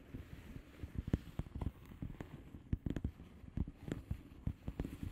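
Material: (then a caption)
Plastic. Long fingernails of both hands scratch a flat blue plastic bubble wrap padded envelope with air-filled bubbles. The result is a quiet, dry, low-pitched rustle broken by a rapid, irregular series of short, sharp ticks that stop instantly with no ring.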